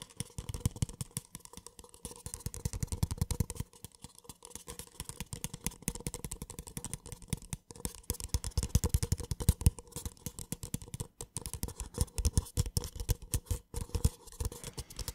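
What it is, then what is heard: Paper cup. Fingertips tap the base of a small, empty, hollow white paper cup and scratch along its side. The result is a rapid, continuous run of short, dry, dull taps and rustling scratches that sound mostly low, with brief pauses between bursts.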